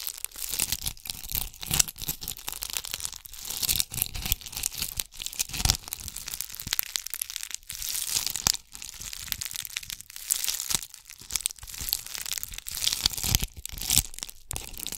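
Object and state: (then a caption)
Bead-covered ornament ball. Long acrylic nails scratch and rub a palm-sized round ornament ball covered in small red and gold bugle beads, held in both hands close up. The sound is a dense, bright, crackling rattle of tiny clicks and crinkles, mostly high-pitched, with short busier bursts and no ringing tail.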